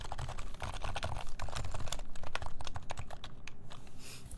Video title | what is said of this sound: Keycult 1/60 Rev. 1 (Re-)Build Stream | Sounds hollow but really nice. Well, it is hollow. There's no plate in this. That's why it's hollow.